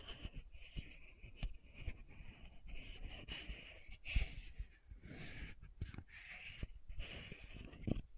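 Long nails rapidly tap the silver-banded metallic cap of a small pink plastic sunscreen bottle held upright. The result is a quick run of light, dry clicks with almost no ring, over a low rumbling background and a bright, hissy band.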